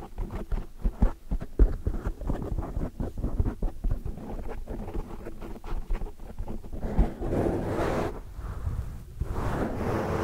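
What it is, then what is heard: Foam microphone windscreen being scratched. Long, dark metallic nails scratch and rub a large black foam windscreen on a microphone while hands clasp around it. Close, muffled scraping and thumping sits mostly in the low range, with rapid rustling bursts. After about seven seconds it shifts into broader, fuller rubbing swells.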